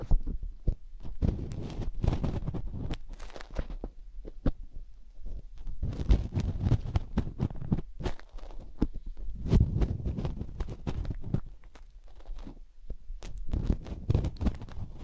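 Fingertips and nails dig and rub inside the ear canal of a binaural microphone's silicone ear. The sound is a dense stream of muffled, deep thumps and rubbing, broken by sharp, bright clicks and scratches that come in bursts with brief quieter pauses.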